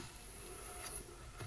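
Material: Nothing is struck.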